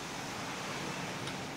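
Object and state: Nothing is struck.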